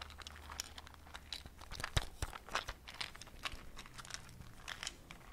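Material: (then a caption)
Plastic. A small transparent plastic cube box nearly full of small round dark beads or seeds is held in fingers with long painted nails, then tapped and shaken. The contents rattle in a dense stream of dry, crinkly clicks and sharp taps with bright high edges that stop almost instantly. A faint low hum runs steadily underneath.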